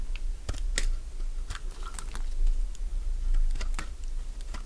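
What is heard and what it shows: A metal blade shaves crisp pieces from a solid light-green bar of Fa soap held in the hand. Sharp, dry crunching clicks come one after another over a steady low hum.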